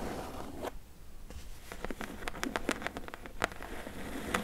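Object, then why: Corrugated cardboard shipping box. Long nails tap and scratch the side panel of a medium, closed, hollow corrugated cardboard shipping box. Quick, dry clicks sound over a soft scratchy rustle, with a brief scrape near the start. Each tap dies away almost instantly.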